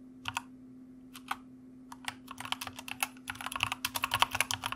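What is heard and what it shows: Fingertips type on the plastic keycaps of a white plastic mechanical keyboard, starting with a few sparse keystrokes before building into quicker, busier typing. Each short, bright clack is dry and dies away almost instantly. A faint, steady low hum sits beneath the keystrokes.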